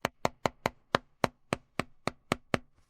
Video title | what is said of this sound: XIAOMI 17 Ultra — Déballage et premières impressions : écran, photo, batterie, prix | Est-ce que vous entendez ce son creux ? C'est presque comme un ballon.